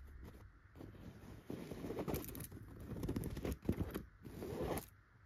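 Long pointed gold nail extensions scratch across the fabric of a yellow tufted chenille pillow. The result is soft, dry rasping strokes that swell and fade in uneven bursts, mostly low and muffled with a faint bright edge.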